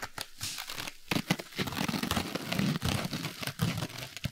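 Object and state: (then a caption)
Foam kitchen sponge with scouring pad. A small yellow foam kitchen sponge with a green abrasive scouring layer is held in both hands while fingertips and nails scratch and rub the green scouring side. The result is a dry, crinkly rasping made of quick, irregular scratchy bursts with bright hiss on top and a soft low rustle underneath.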